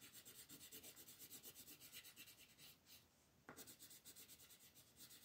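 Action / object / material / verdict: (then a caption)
scrape / colored pencil rubbed on a thin paper page / paper / none. A green colored pencil is rubbed in short back-and-forth shading strokes across a thin printed paper coloring page lying flat on a dark table, held down by fingertips with long painted nails. The strokes make a quick, steady, bright scratchy rasp, broken by a brief quieter pause near the middle before the shading resumes.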